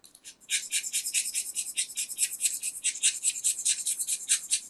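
A metal craft knife scrapes flakes off the face of a small, round, solid white soap disc held in the hand. After a brief quiet start, a rapid, uneven series of short, dry, bright scraping strokes follows, each a crisp hiss with almost no low end and no ring.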